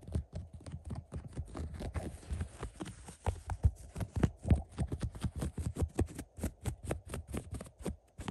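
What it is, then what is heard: Woven upholstery fabric scratched. Fingertips scratch and rub the beige woven upholstery and piped seam of a fabric recliner. A rapid, steady series of short, soft strokes sounds dull and thumpy, with faint bright scratchy edges on each one.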